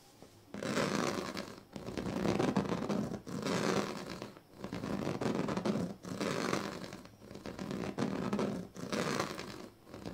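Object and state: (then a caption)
Woven plastic sleeping mat. A pink plastic comb is scratched across the strips of a large, flat woven plastic sleeping mat. It makes repeated long, raspy strokes with a dense, bright crackling texture, separated by brief quiet gaps.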